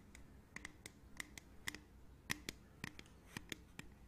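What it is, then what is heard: Aluminium drink can. A hollow, printed aluminium beverage can, held sideways, is scratched and tapped with long nails. About 14 quiet, sharp clicks are heard, each with a brief bright metallic ping around 1.9 kHz that dies away almost instantly. A faint scratching texture and low hum sit underneath.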